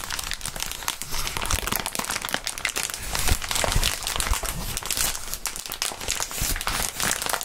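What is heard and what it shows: Clear plastic bubble wrap is crumpled by gloved hands and lowered toward a cutting mat. It gives a dense, steady crinkling with bright crackles and occasional soft low thumps, and there is no ringing between sounds.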